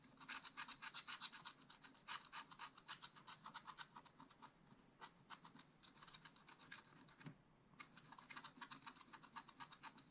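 A wooden stylus scratches a black-coated scratch-art page in a spiral-bound book, the flat sheet held down with one hand. Short, quick strokes make a dry, bright rasping at a brisk, uneven pace, with one brief pause near the end.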